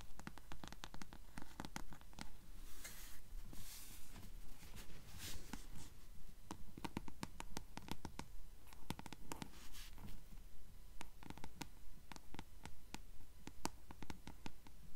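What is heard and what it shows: Long nails scratch along the spine of a blue paperback book held in the hands, then move to the paper page edges. Quiet, close, dry scratching mixes with rapid, fairly steady sharp clicks and taps, with a few longer rasping strokes standing out.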